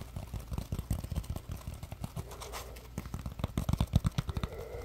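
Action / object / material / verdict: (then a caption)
scrape / polymer foam sponge / polymer foam / none. A palm-sized, solid yellow polymer foam Scrub Daddy sponge with a face cutout is held in both hands while fingertips squeeze and scratch it. The result is a quick series of soft, low, muffled crunching and scraping bursts with faint brighter scratchy edges, most of the energy deep and dull.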